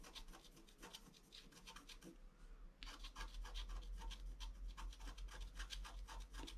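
A wooden stylus scratches the black coating off a flat A4-size scratch art sheet with a colored layer beneath, lying on cloth while the other hand holds it. Quick, fairly regular dry scratching strokes with a bright, raspy edge run throughout over a steady low hum. The strokes are softer for the first few seconds and grow louder and more insistent from about the three-second mark.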